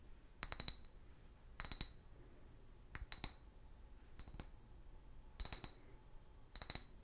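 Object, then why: Clear glass bottle. Long fingernails tap an empty, large, hollow clear glass liquor bottle with a paper label, held sideways. The taps come in seven quick clusters, each giving sharp, bright clicks with a brief high glassy ring that fades almost at once over a quiet background.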